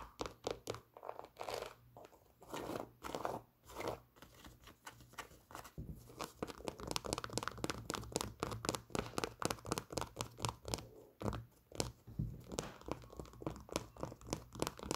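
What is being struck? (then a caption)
Leather sneaker with rubber sole. Long glittery nails tap and scratch the leather upper of an empty white leather low-top Nike Air Force 1 sneaker with a rubber cupsole. The result is a dense run of quick, crisp clicks mixed with crinkly, scratchy rubbing, with short pauses between bursts.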